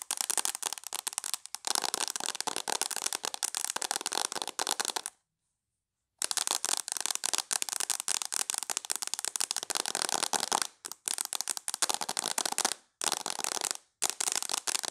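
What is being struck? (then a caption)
Tablet with glass screen in a plastic case. Long nails tap rapidly on the glass screen of a tablet in a mint plastic case, which is held up. The result is dense, bright, crackling clicks in fast bursts, with a clear silent pause about a third of the way through and a few short breaks near the end.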